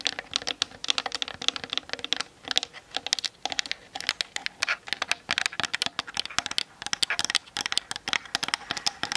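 Long nails tap quickly on the top and sides of a Canon DSLR camera's plastic body. The result is a rapid, uneven stream of sharp, dry, bright clicks that stop instantly, centered around 3.5 kHz with almost no low end.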